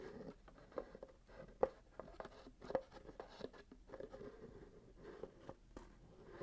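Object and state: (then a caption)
Wrapped cardboard gift box. A small cardboard gift box wrapped in gold glitter paper, its lid closed, is held and tilted in the hands while fingertips and short nails scratch and rub along its sides and top. The result is a quiet, papery scratching and rubbing with a few sharper ticks scattered throughout.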